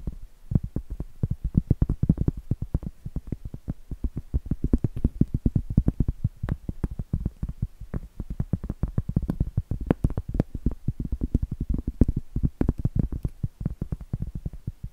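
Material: Cork.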